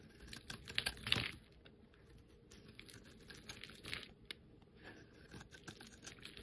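A metal utility-knife blade scrapes a solid, rounded, hand-sized bar of pink-and-white striped soap with a red-and-black dotted edge, held in the fingers, curling off thin shavings. Quiet, dry, scratchy strokes come in an irregular, bright patter, with the loudest scrapes near the start. Softer shaving sounds follow.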